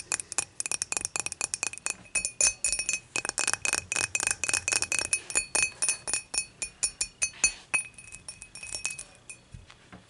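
Long matte nails tap rapidly on the top of the body of an empty, clear, dimpled glass beer mug lying on its side. About forty quick, bright glassy clinks each ring briefly with a high, thin tone. The taps come in an uneven rhythm and soften somewhat toward the end.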